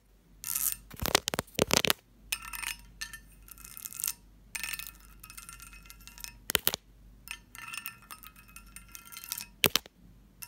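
An empty, medium-sized, hollow pressed-glass candy dish with a lid and textured surface is tapped and scratched with long fingernails. Sharp, bright glassy clinks alternate with bursts of raspy, high-pitched scratching across the ridged surface, with each tap dying away almost instantly.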